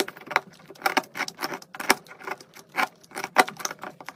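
A metal knife blade carves shavings off a solid pink and white soap bar. It makes a rapid series of short, crisp scraping crackles with bright, dry texture and no low rumble, each cut dying away almost instantly.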